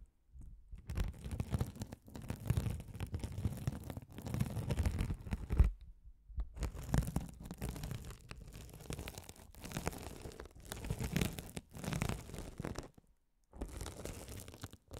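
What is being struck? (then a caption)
Mesh-covered foam scouring sponge. A hand-sized blue glitter mesh scouring sponge with a sparkly woven mesh cover, soft and solid, is held over the mics and scratched by a rolling gold metal spiked roller. Repeated passes give dense, low, rumbling scratchy crackle, broken by brief silent pauses between strokes.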